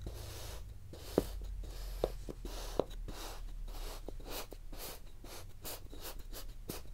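A wooden tool with a textured end is repeatedly pressed and stamped into a solid, palm-sized truck molded from yellow kinetic sand. Soft, grainy crunches repeat at an uneven pace over a low background hum, with three sharper taps standing out early on. The surface is crunched into a waffle pattern.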